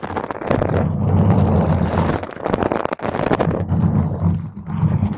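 Long green stiletto nails scratch across the top of a round purple foam microphone cover. The result is a dense, continuous low rumbling scrape with little high content, dipping briefly near the three-second mark before resuming.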